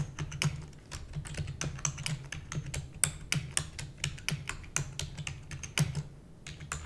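Long nails type rapidly on a black plastic computer keyboard, producing a dense stream of sharp, bright clicks that die away almost instantly. A steady low hum runs underneath the taps throughout.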